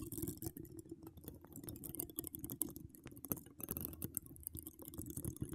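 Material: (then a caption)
Metal mesh. A hollow woven metal mesh microphone grille is scratched with long decorated acrylic nails. The result is a quiet, dense run of short, dry scratches and taps with a low rumbling body and faint bright crackle on top.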